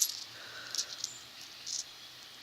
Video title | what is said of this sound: Indian Artifacts and Old Homesite Treasures, Part 1 | I love the sound it makes sounds like glass